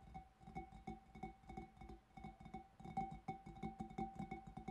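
Fingertips and nails of both hands tap the front of the bulb of a large, empty, hollow clear glass fish bowl in a quick, uneven run of soft taps. Each tap gives a short glassy ping centred around 780 Hz with a faint higher overtone, over dull low thuds, and fades almost at once.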